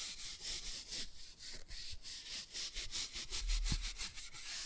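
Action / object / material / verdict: scrape / laminated cardboard board book cover scrubbed with a toothbrush / laminated cardboard / none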